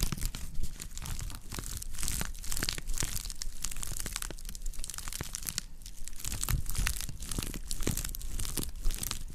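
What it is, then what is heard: Woven straw plate. A round, shallow woven straw or wicker plate is held in both hands with its hollow underside facing the microphones while long nails scratch and squeeze the woven surface. The result is a dense, continuous crackle of dry crinkling and crunchy scratching, with sharp bright clicks over a heavy low thump from the hollow plate.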